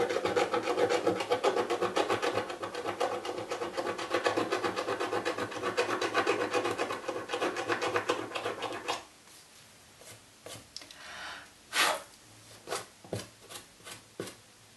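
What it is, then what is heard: Cardboard box scratched with a coin. A small coin held in the fingertips rubs and scratches the grey scratch-off film on the lid of a hollow, shoebox-sized printed cardboard Birchbox box with short, fast strokes. A steady, dense raspy scratching runs for about nine seconds, then drops to a quiet pause broken by a few separate, brighter scrapes.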